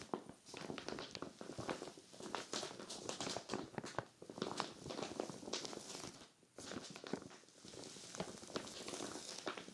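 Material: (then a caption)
Vinyl. A clear vinyl zippered storage bag full of cream knit sweaters is scratched and patted by hands with long glitter nails. The result is a steady run of crinkly plastic rustles and soft pats with bright, crackling highs. There is a brief lull around the six-second mark.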